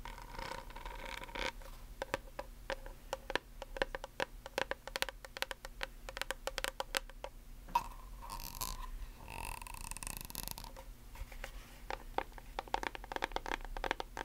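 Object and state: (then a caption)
Plastic bottle tapped and scratched with nails. Long acrylic nails tap and scratch a tall white plastic nail polish remover bottle with a blue cap and liquid inside. Quick, dry, bright clicks come in dense, uneven bursts, broken near the middle by a few longer scraping sweeps, over a faint steady hum.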